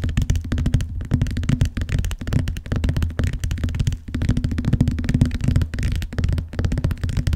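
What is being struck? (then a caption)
Vinyl-covered binder cover. Fingertips and long nails tap rapidly along the lower edge of the cover of a large, closed, blue vinyl-covered binder lying flat on a box. The result is a steady stream of soft, dull, low thumps with a faint clicky edge, each dying away almost at once.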